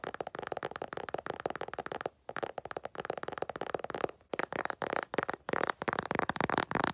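An empty makeup bag is tapped rapidly with fingertips in quick bursts of short, dry, hollow taps centered in the midrange, with brief pauses around two and four seconds. Each tap dies away almost instantly, leaving a crisp, papery patter.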